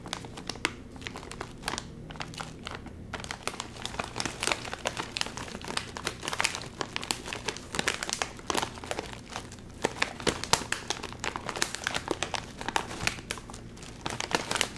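A full Doritos chip bag of metallized plastic film, back side with its white panel showing, is crinkled and squeezed in both hands. Dense, bright crackling and crinkling continue throughout, with many sharp snaps over a soft hiss.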